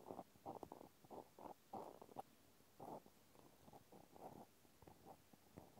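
A cotton swab tip scratches inside the hole and along the edge of a small pink plastic clothespin held in one hand. About a dozen short, soft, scratchy rasps come in quick separate bursts, with a muffled midrange tone and little bass or brightness. Between them there are quiet gaps.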